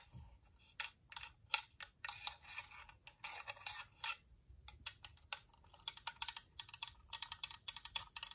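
Long nails tap and scratch the dome and front edge of a white, glossy, hollow plastic UV nail lamp. Quick, bright, dry clicks with almost no ring come in uneven clusters, with scratchy bursts between the taps. The tapping grows faster and denser toward the end.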